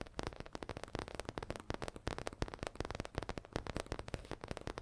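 Long acrylic nails rapidly tap and scratch a soft, hollow leaf-print fabric/faux leather zippered pencil case pouch. A quiet, dense run of short, dull clicks blends with scratchy rustling. Each tap has a muffled low body and dies away almost instantly.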